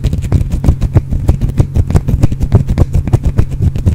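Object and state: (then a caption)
Bar of soap being scratched. A small, solid green bar of soap is held in one hand and scratched with the fingernails of the other hand. Rapid, evenly repeated scratches produce short, dry crackling strokes over a steady low rumble. Each stroke ends almost instantly with no ring.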